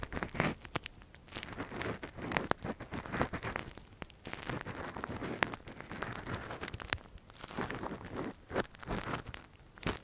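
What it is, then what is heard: Silicone ear microphone scratched with a metal pick. A gloved hand scratches inside the hollow canal of a soft translucent silicone ear model, a binaural microphone cover, using a thin metal earpick. The result is a dense run of close, crackly scraping and crinkling with short sharp clicks, mostly low-mid in tone with occasional bright ticks.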